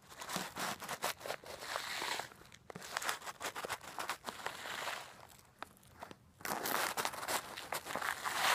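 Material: Salt crystals.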